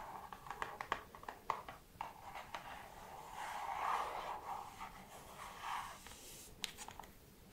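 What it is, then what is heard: Cardboard perfume sample box. Long red nails scratch and tap across the front of a small, flat, hollow printed cardboard box, The 7 Virtues Peace Perfume Discovery Set, held up in the air. Quiet, dry scratching centred around 1 kHz swells and fades, broken by sharp, short clicks of the nails tapping the cardboard at an uneven pace.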